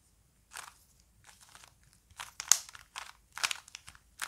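A small plastic Rubik's cube is held in the hands while fingers twist its layers, producing quick bursts of bright, crunchy plastic clicks. The clicks come in an irregular rhythm, are sharp and dry with almost no ring, and sit mostly in the high range.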